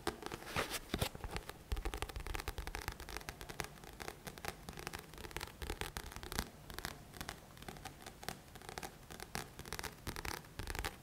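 Fingertips and nails scratch and tap the glossy card front cover of a thick paperback book held upright. The result is a steady run of dry, bright scratching strokes broken by quick, soft taps with a dull low thump beneath. Each sound dies away almost instantly.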